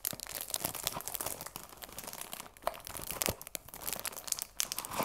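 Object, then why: Cellophane-wrapped cardboard box. Fingertips and long nails crinkle and scratch the cellophane wrap on a cardboard tea box. The result is a dense run of bright, crackly crinkles and scratchy ticks with very little low end and short, dry snaps.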